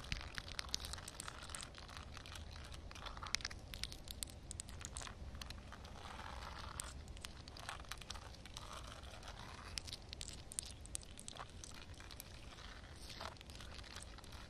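Long nails tap and scratch across a wet concrete slab, solid concrete under a thin layer of water. It is a quiet, dense stream of crackly, tearing-like scrapes and sharp, bright clicks that die away instantly, over a steady low rumble.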